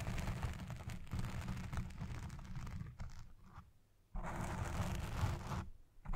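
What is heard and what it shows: Fingertips and long red nails scratch fast over a black foam windscreen on a Blue Yeti Pro microphone, making a dense, low, rumbling scrape with fine rustle on top. The scratching thins out and fades to near silence around the fourth second, then bursts back at full strength. It dips briefly again near the end before resuming.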